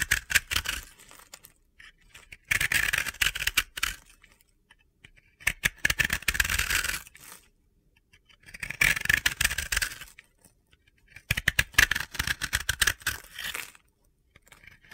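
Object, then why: Pressed-powder bath bomb. A solid blue-yellow disc of pressed-powder bath bomb, held in the hand, is scraped with a utility-knife blade. Several bouts of bright, gritty, crunchy scraping are heard, separated by short pauses.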